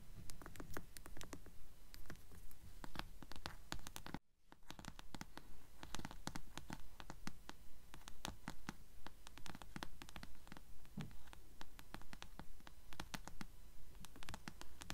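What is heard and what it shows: Long nails tap and scratch the narrow glossy paper spine of a blue paperback book held upright by its spine. The result is a quick, steady run of soft, dry taps mixed with scratchy strokes, with a brief silent gap a little past four seconds before the rhythm resumes.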